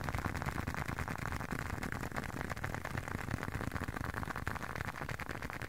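A closed, hand-sized blue leather long wallet is held up close and tapped and scratched with fingertips and short nails. The result is a dense, steady stream of quick, soft, low thuds mixed with a dry rustling scratch, with no ring after each touch.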